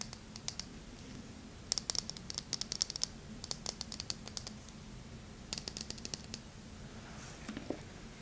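An unwrapped, palm-sized oval bar of hard yellow Yardley lemon soap is held in the hands, and medium-length painted fingernails and fingertips scratch and rub over its smooth surface. The sound is bursts of crisp, bright clicking scratches in quick clusters with short pauses between them, over a faint low hum.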